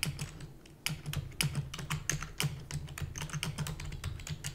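Rapid typing taps with long natural nails and fingertips on a full-size black plastic keyboard with hollow keys. Quick, bright clicks follow one another in a dense, uneven run, each dying away almost at once. A steady low hum runs underneath.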